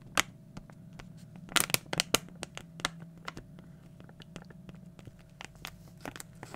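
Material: Plastic foil.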